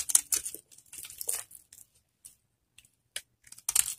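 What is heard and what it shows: A metal blade scrapes and shaves the surface of a solid, hand-sized orange bar of dry Camay soap held in both hands, leaving soap flakes scattered around. Short bursts of dry, bright, crisp scraping and crackling come in uneven clusters separated by brief silences, with almost no low end. The loudest scrapes fall at the start and end.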